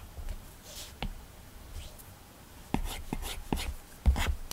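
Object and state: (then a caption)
Stylus on matte-protected tablet screen. A plastic Apple Pencil tip rubs and scratches across an iPad glass screen covered with a matte Paperlike plastic protector while shading, giving soft, papery strokes. Sharp taps on the side toolbar cut through now and then as short, dry clicks.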